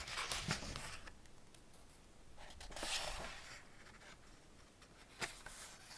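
Fingertips rub and scratch the printed paper pages of an open Ladybird hardback picture book, "Man and His Car", and turn them. Soft, bright papery rustling and scratching come in quiet swells, with a louder sweep of the page midway and a short, sharp crisp tick near the end.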